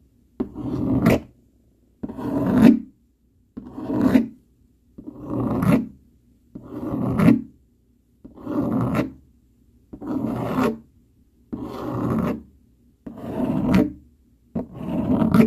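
A dark plastic fork scratches across a flat brown cardboard sheet with its tines and edge, making ten separate rasping strokes divided by short silences. Each stroke swells from a soft scrape to a louder, gritty rasp with a low-mid body, brightens into a high hiss at its end, then stops dead.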